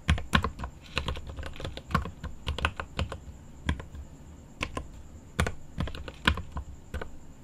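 Both hands type with their fingertips on a mechanical keyboard with plastic keycaps and an aluminum case, producing rapid, irregular key clacks. Each strike is short and dry, with a deep, low-heavy thock and little ring, and the typing comes in bursts separated by brief pauses. A faint, steady high tone runs underneath throughout.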